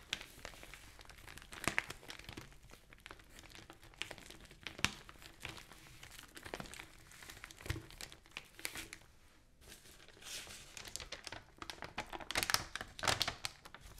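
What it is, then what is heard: Newspaper. Long nails tap and scratch across an open newsprint newspaper lying flat, making soft, bright crinkling and papery scraping. Then the pages are lifted and turned with louder crumpling rustles and sharp crinkles near the end.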